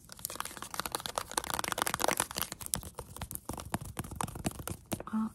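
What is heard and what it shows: A small white and pink squeezable plastic hand cream tube, hollow and likely partly full, is held close and tapped and scratched quickly with long acrylic nails. It produces a dense run of crisp, dry clicks and crinkly scratching that barely ring out. A brief steady tonal blip sounds at the very end.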